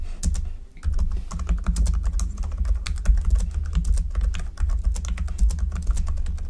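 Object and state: Plastic computer keyboard being typed on.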